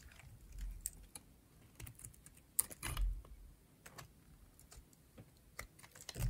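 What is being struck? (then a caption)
Bar of soap shaved with a metal blade. A metal blade shaves curls from a cream-colored, rectangular dry bar of soap with an orange edge. The result is a quiet, irregular series of sharp, dry scraping clicks with bright, crisp edges, a low rumbling underneath, and almost no ring after each cut.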